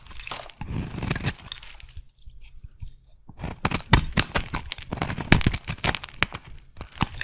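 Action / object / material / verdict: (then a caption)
scrape / soap bar / soap / none. A metal blade shaves a solid white soap bar turned over to its bumpy patterned side, peeling off curls. Crisp, crunchy scraping and cutting bursts with bright edges and a dull low thud underneath, easing off briefly in the middle before sharper, louder cuts return in quick succession.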